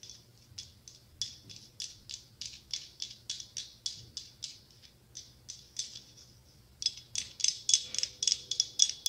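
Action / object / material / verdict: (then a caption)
tap / hollow glass-tile mosaic pumpkin / glass / none. Long acrylic nails tap and scratch across a hollow glass-tile mosaic pumpkin held up close, making about 27 short, bright, clicky taps with almost no ring. The taps come in an uneven rhythm and grow louder and denser near the end.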